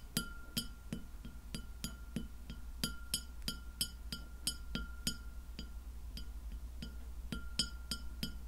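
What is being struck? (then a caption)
Round glass plate. Long fingernails on both hands tap a large, round, solid white glass plate that lies flat and empty. A quick series of sharp, bright clicks rings out with a faint high ring and a steady tone near the middle of the range. Each tap fades fast over a low background hum.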